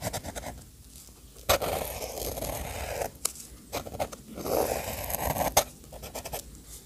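The metal nib of an orange fountain pen, held at the fingertips, scratches small circles and lines across a paper sketchbook page. Dry, papery rasps swell into longer scratchy strokes, broken by sharp little ticks where the nib meets or leaves the paper. Quiet pauses fall between the strokes.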